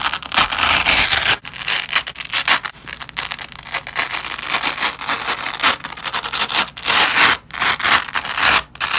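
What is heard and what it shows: A black-gloved hand peels apart a flat nylon hook-and-loop strip lying on red cloth. Repeated bright, crackling rips come in bursts with brief pauses between them, with almost no low end.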